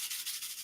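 A finished shaker tag card, a paper and foam shaker box with a Poly-Glaze window filled with loose disco ball sequins, is shaken. The sequins make a soft, steady, hissy rattle with rhythmic swells, almost all of it in the high frequencies with no low end.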